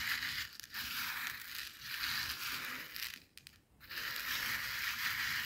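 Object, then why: Coarse salt crystals on a plastic cutting board. Coarse bath salt grains on a white plastic cutting board are rubbed and pressed under a flat hand, then gathered with the fingertips and nails. A dense, bright, gritty crunching and scraping runs almost continuously, dropping to near silence for about half a second past the three-second mark before resuming at full level.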